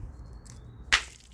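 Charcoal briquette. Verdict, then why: Cracked. A charcoal briquette that is already cracked is struck and breaks apart easily, because cracked briquettes break readily. A single sharp, bright clinking crack cuts through a quiet low hum and dies away almost at once.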